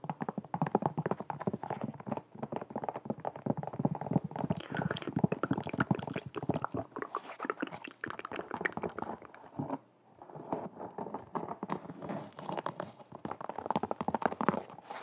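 Long red nails tap and scratch the leather upper of an empty white perforated leather sneaker up close. The result is a steady stream of quick, soft, muffled clicks and rubbing scrapes, mostly low and midrange with almost no bright edge, with a brief lull near the ten-second mark.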